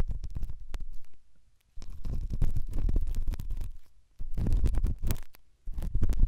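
The tip of a pen, held in the fingers, rubs and scratches inside the ear canal of the left white silicone dummy ear on a binaural microphone. It makes deep, muffled, rumbling scrapes and crackles in three bursts separated by brief quiet pauses.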